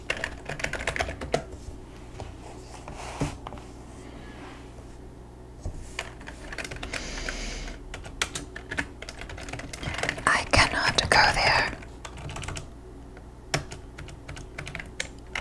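Two hands with short, pink-painted nails type on a full-size black plastic computer keyboard lying on a desk beside a yellow legal pad and pencil. The hollow plastic keys give irregular, quick clicking taps, with a denser, brighter flurry of keystrokes near the end, over a faint low, steady hum.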